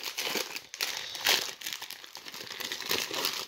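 A small rectangular 1990 Topps jumbo pack of trading cards, in a thin clear cellophane wrapper over a waxy printed paper pack, is held over a wooden table and crinkled and torn open with the fingertips, with other opened wrappers nearby. It makes a steady, bright crinkling and crackling of thin plastic film with almost no low end, swelling into a louder tearing burst midway.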